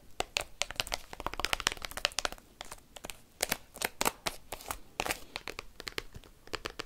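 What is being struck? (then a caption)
Plastic card binder with clear sleeve pages. Fingers tipped with paperclips rapidly tap and scratch an open plastic card binder album whose clear plastic sleeve pages hold cards. The result is a fast, irregular stream of sharp, dry clicks and crinkly plastic scratches. The sound is bright and crackling, with little low end and no ring after each hit.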